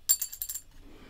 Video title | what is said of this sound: Jack Bruce A vlog | listen when I drop it on the table. See? It's like it's metal.